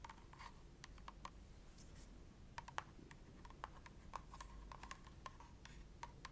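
Long nails tap rapidly on the front and back of a filled red plastic cream tube. Each tap is a short, dry click with a tone near 875 Hz and a bright edge, dying out almost instantly over a quiet, low background hum.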